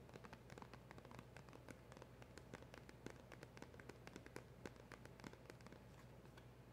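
A small black printed cardboard box with a silver seal is held in the hand and tapped with long acrylic nails on its front and sides. Quick, light, crisp clicks follow one another in an irregular stream over a steady low hum. Each tap is short and dry, dying away almost at once.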